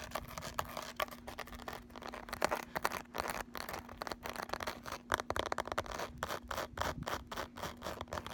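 Long nails scratch and tap the raised ridges and letters on the sunburst-embossed lid of a flat eyeshadow palette, which is first held up and then laid flat. The result is a quick, dry run of crisp ticks and rasping scratches with bright, hissy edges and almost no ring, over a faint steady low hum.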